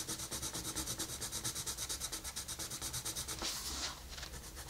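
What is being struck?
Colored pencil on a paper coloring page.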